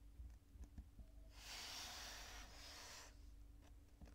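Purple kinetic sand on a table is gathered and crumbled by the fingers, then pressed flat with the palms. Faint, soft dull taps and crumbles give way to a steady, bright grainy hiss for about a second and a half as the sand is pressed, before quiet light crumbling returns. The whole clip is quiet, with a low steady hum underneath.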